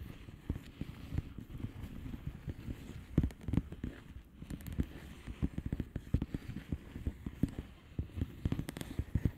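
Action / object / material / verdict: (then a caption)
tap / plastic bubble wrap envelope / plastic / none. Long fingernails on both hands tap across the air-filled bubbles of a flat blue plastic bubble wrap envelope. The result is a quiet, irregular stream of soft, dull, low taps, each stopping almost instantly, with louder flurries near the middle and toward the end.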